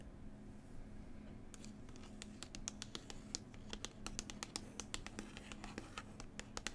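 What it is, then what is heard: Glossy-covered paper book, nail tapping. Long pointed white nails scratch and tap the glossy, slightly textured printed cover of a large New Zealand travel book lying flat, a solid stack of paper. A soft, dry scratching gives way after about a second and a half to a quick, uneven run of sharp, bright clicks that stop dead, over a steady low hum.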